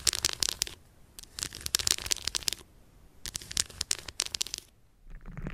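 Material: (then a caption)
Chocolate. Long purple stiletto nails tap and scratch the segmented surface of a solid, unwrapped milk chocolate bar lying on fur. Three bursts of rapid, bright, crisp scratching and clicking are separated by brief near-silent pauses. The clip ends with a softer, lower rustling.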